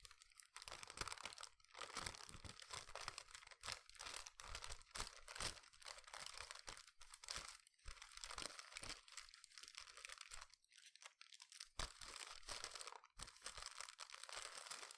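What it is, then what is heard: Crinkled paper bag. Fingertips crinkle, fold and rub a medium brown kraft paper takeaway bag, hollow and holding food, held up beside the microphone. The result is a steady stream of bright, dry crinkles and crunches with sharp snaps, mostly high-pitched and fairly quiet, with a short lull around eleven seconds.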